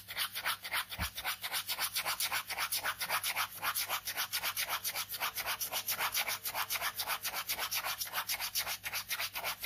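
A ballpoint pen scratches dense, rapid strokes across a white paper sketchbook page resting on fabric. About 34 quick, fairly steady back-and-forth scribbles, roughly four per second, make a bright, dry rasping sound with almost no low end.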